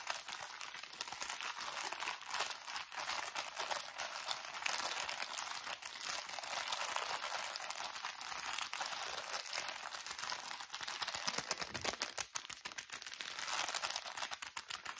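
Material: Thin plastic.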